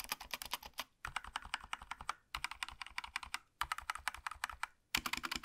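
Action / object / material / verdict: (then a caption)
tap / plastic mechanical keyboard / plastic / none. Gloved fingertips type on a small black Razer BlackWidow V3 65% mechanical gaming keyboard with plastic keycaps and a solid body, lying on a desk. Quick, bright clacky keystrokes come in four bursts separated by short pauses, each press short and dry with almost no low end.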